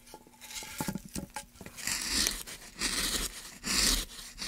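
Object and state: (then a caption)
Pine wood block being carved. A gloved hand carves a groove into a solid light pine block, about 30 cm long, with a wooden-handled gouge. After a few soft taps and clicks, long bright rasping scrapes rise and fall as the blade shaves through the wood, with little low-end weight.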